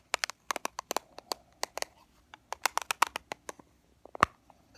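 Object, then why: Plastic powder compact. An open black plastic powder compact, showing its mirror and powder, is tapped with fingernails. A quick, irregular series of sharp, dry clicks follows, each with a bright crack and almost no ring.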